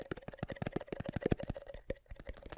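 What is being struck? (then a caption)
Lid of a small garlic jar. Rapid, quick tapping on the middle of the lid of a small jar of minced garlic gives a steady run of short, soft, hollow, almost drum-like knocks. Each tap is dull and low-pitched with a faint tone on top and dies away almost instantly.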